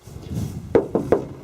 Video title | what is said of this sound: 1958 Apache Walk Around | So yeah, that sounds like metal.